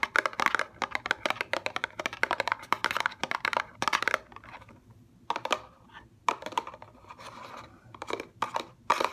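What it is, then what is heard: Cardboard cosmetic box. Long fingernails tap rapidly on a small, upright CeraVe eye cream box made of thin paperboard, hollow with a tube inside. Dense, dry, clicky taps with a papery crinkle fill the first four seconds, then return in shorter bursts separated by quiet gaps. Each tap is sharp and dies almost instantly, centered in the mids with some bright edge.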